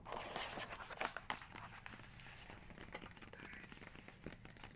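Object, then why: Glossy paper page of a hardcover book. Long nails and fingertips tap and trace across a glossy printed portrait page of an open large hardcover photography book, with the same page staying open throughout. Quiet, crisp papery taps and dry scratchy strokes come in an irregular, fairly quick run, their bright crinkly texture dying away almost instantly.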